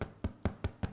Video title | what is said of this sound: IRISH SODA BREAD - St Patrick Day Recipe Treat | we tap the bottom it's got that lovely hollow sound